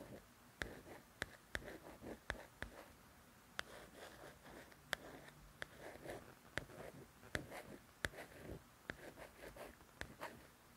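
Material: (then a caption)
Paper. Long nails trace and scratch over the letters on the glossy paper cover of a softcover coloring book. Soft, papery rasping strokes in the mid range are punctuated by about fifteen sharp, dry clicks that die away almost instantly, all at a quiet level.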